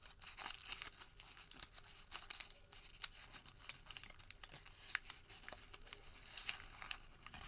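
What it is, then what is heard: Thermal paper receipt crumpled. A printed white thermal paper receipt is crumpled and then partly opened in the fingertips of both hands. It makes a quiet, dense crinkle of sharp, bright crackles and snaps with almost no low end and no ring.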